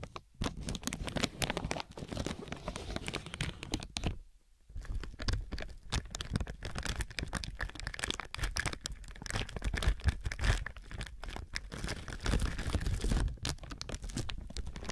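Fingertips of both hands press, rub and crinkle a thin clear plastic film or bag stretched over a binaural microphone. The result is dense, continuous crackling and crinkling with a heavy low-end rumble, broken by a brief near-silent pause about four seconds in before the rustling resumes.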